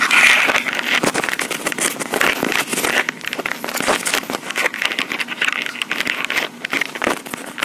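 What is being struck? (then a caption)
Handheld recorder with hard plastic body. Long pink acrylic nails on both hands tap and scratch the top and sides of a small handheld Tascam recorder, a hard black plastic body with mic capsules on top that is itself the recording mic. The result is a dense, rapid stream of close, crackling clicks and scrapes, bright and almost without low end. It continues steadily throughout, with short bursts of louder tapping.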